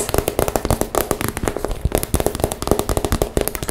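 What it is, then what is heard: Plastic cosmetic bag, empty. Long nails rapidly tap and scratch the sides of a hollow, mostly empty pink transparent PVC zip cosmetic bag. About 28 quick, dry taps are heard, each with a dull, low body and a short plasticky rattle, mixed with faint scratching. Every tap dies away almost at once.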